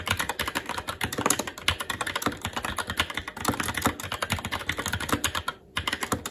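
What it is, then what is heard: Plastic mechanical keyboard. Fingertips of both hands type continuously on a SteelSeries Apex 7 TKL mechanical keyboard with red linear switches, plastic keycaps and a metal top plate. The result is a rapid, steady stream of sharp, bright plastic clacks with short, dry decays and a brief pause just before the end.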